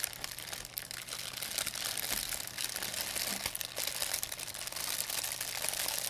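An empty, thin white plastic pharmacy bag is crumpled and rubbed with fingertips and long nails. It makes a continuous, bright crinkling with many quick crackles and little low end, holding steady for about six seconds.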